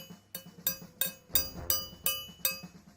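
Metal cutlery is struck softly, giving seven quiet, bright clinks with high metallic ringing that fades quickly. The gentle strikes make a quieter clink, for comparison with striking the cutlery hard.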